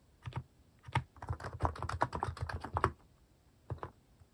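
Fingertips type on a cream plastic mechanical keyboard fitted with plastic cat and paw keycaps. There is a quick pair of keystrokes, then a brief pause and a dense run of rapid clacky strokes with a deep thocky body. After another pause, two final keystrokes are heard.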